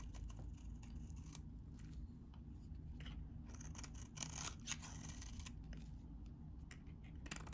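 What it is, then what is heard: Dry soap bar being shaved. A utility knife blade shaves crumbly chips off a solid, hand-sized, very dry vintage green soap bar. The quiet clip is a steady run of short, crisp scraping and crackling cuts with bright, crunchy bursts over a low, steady rumble.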